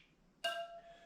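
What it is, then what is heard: Tight wire wheel spoke. A wrench taps a steel wire spoke on the right-hand side of a 1976 Honda GL1000 LTD motorcycle wheel, giving a single bright metallic ping with a clear ringing tone around 680 Hz that fades within about half a second. The ring shows the spoke is properly tight.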